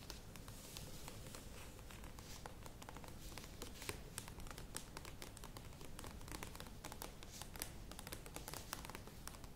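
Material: Plastic.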